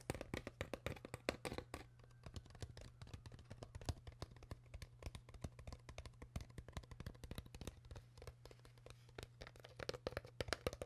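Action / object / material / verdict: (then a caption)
tap / crumpled thin plastic water bottle / plastic / none. Long nails tap rapidly on an empty, crumpled, hollow clear PET plastic water bottle, producing a fast stream of short, sharp clicks and crinkly plastic ticks. A steady low hum runs underneath throughout.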